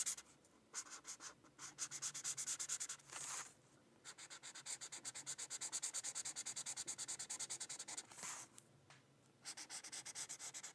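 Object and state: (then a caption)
Marker coloring on paper. A teal felt-tip marker rubs quick back-and-forth coloring strokes across a thin white paper sheet resting on a book. Each stroke gives a dry, bright scratchy hiss, running in fast rhythmic bursts separated by brief pauses.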